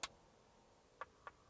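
Sharp, bright taps on the inner face of an armoured Land Cruiser's Optima ballistic glass window, laminated glass with a polycarbonate inner layer to catch shards. There are three short clicks with almost no ring, one at the start and two close together near the end, with a faint fourth onset at the very end.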